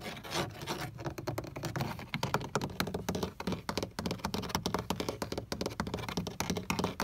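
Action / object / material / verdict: tap / plastic car door switch panel / plastic / none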